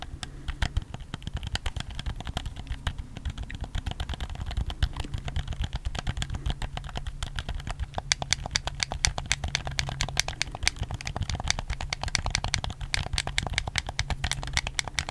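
Fingertips tap and click the face buttons and thumbstick of a black, hollow plastic PS4 controller. Rapid, dense, dry plastic clicks continue throughout over a steady low hum, with very short, bright transients.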